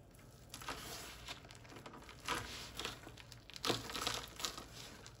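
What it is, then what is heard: Crumbled dry bar soap. Fingertips and palms press, crush and rub a heart-shaped pile of crumbled, dry, white-ivory bar soap flakes on a wooden surface, then spread the pile flat by hand. Bright, dry crinkling and crunching crackles come in irregular bursts, with a few louder crushes standing out over a steady low hum.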